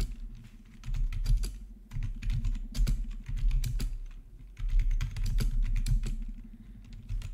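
Both hands type with their fingertips on a plastic RGB membrane keyboard with black backlit plastic keycaps resting on a marble surface. Rapid, soft key taps with a dull low thump come in steady bursts, with brief lulls between runs.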